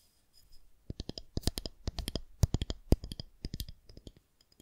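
A smooth white plastic rod about 30 cm long, likely a fondant rolling pin, is held in both hands and tapped and scratched along its length with long painted nails, then turned upright by the end. The result is an irregular run of about two dozen sharp, dry clicks with bright tops, plus light scratching between them. Each tap dies away almost at once.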